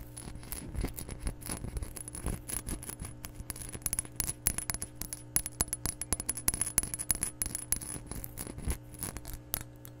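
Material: Glass.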